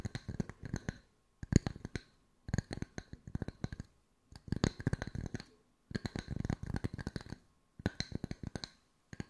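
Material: Wood.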